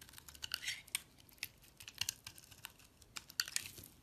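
A metal craft blade shaves and scrapes a solid, hand-sized, translucent amber glycerin soap bar held in the palm, cutting crisp flakes and curls. About 17 short, bright scraping and crackling strokes come through, each dying away almost instantly, over a quiet, faint background with almost no low end.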